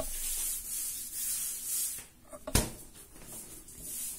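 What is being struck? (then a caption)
Soft bread dough with raisins. Bare hands squeeze and knead a large, soft, solid yellow ball of raisin bread dough on a floured marble-pattern counter. Steady, bright rubbing and soft squishing rise and fall in waves, broken partway through by a brief quiet and a sharp, short slap.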